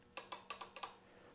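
The steel governor/fan shaft drive gears on a 1929 John Deere GP tractor are rocked back and forth after the carrier is tapped into place, giving a quick series of light, bright metallic ticks that die away almost at once. The slight ticking shows a little backlash in the gear mesh, judged to be just enough.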